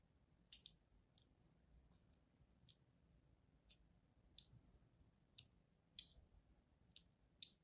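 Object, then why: Bar of soap scored with a metal tool. A thin metal tool, held by a hand with long pink nails, scratches and scores thin lines into a palm-sized bar of mint-green and white striped soap held in one hand. Ten short, bright, crisp scraping clicks sound at uneven intervals over a quiet background, each dying away almost instantly.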